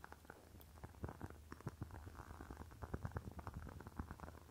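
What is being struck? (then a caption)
Glass candle jar with wax. Long fingernails tap rapidly on the walls of a rectangular clear glass jar filled with red wax. Quick, short, clicky taps overlap in an uneven run over a soft low hum, fading almost at once with no ringing.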